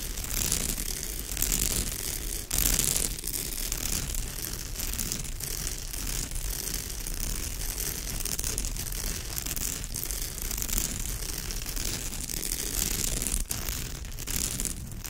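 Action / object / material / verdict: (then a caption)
scrape / woven straw bag / straw / none. Long nails scratch deeply across the weave of a woven straw bag, making a continuous dry, raspy scraping with bright crackle and a low rumble underneath. The texture stays steady for the whole clip, with brief louder swells.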